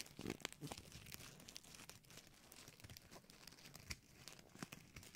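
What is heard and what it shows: A small, light gold foil-plastic gift bow is crumpled and crinkled by fingertips and nails around the microphone. Dense, bright crackling and crinkling run throughout, with sharp snaps that cut off almost instantly. The sound is quiet overall, with a few louder crunches standing out.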